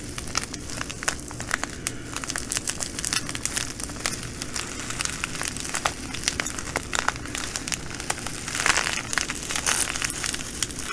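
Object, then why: Plastic bag of glass bugle beads. Long nails pinch and scrunch a plastic bag of green glass bugle beads, then lift and squeeze it. Dense, bright crinkling comes through with quick, sharp clicks of beads shifting against each other over a low, steady background rumble. A brief louder rustle swells near the end as the bag is squeezed.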